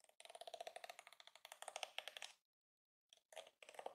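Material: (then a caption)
Plastic. Fingertips with nails rake and flick the dense, flexible plastic bristles of a yellow and pink plastic detangling hairbrush lying on a counter. The result is a quiet, rapid run of crisp, bright plastic ticks and clicks with a faint rattling quality. After a brief silence, shorter bursts of the same flicking clicks follow.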